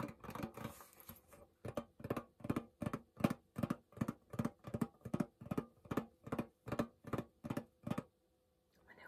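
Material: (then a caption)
Tin. A small, flat, rectangular pink Hello Kitty printed tin pencil case, hollow and apparently closed, is held in one hand and tapped on its printed lid with painted fingernails. After an irregular flurry at the start, the taps settle into a steady, quiet rhythm. Each is a short, hollow, dull knock with a low-mid tone and almost no ring.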